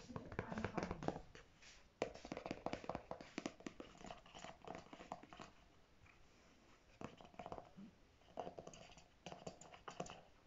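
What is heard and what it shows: Natural fingernails tap and scratch the back and front of a single pink Marc Anthony Grow Long conditioner tube, made of soft plastic, about 250 ml and apparently filled, resting on a fabric surface. Quick, irregular bursts of dull plastic taps and scratchy rustling come with short pauses, including a quieter stretch near the middle.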